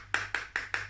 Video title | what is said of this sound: Will it magnet? Toddlers guess what's magnetic | has a funny sound because it sounds like metal